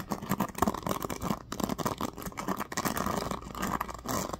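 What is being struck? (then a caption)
Plastic paddle hairbrush. Fingers flick and scratch along the teal-tipped pins of a black plastic oval paddle hairbrush. A steady, dense patter of quick, dry ticks and scrapes runs throughout, with a warm midrange focus and little brightness.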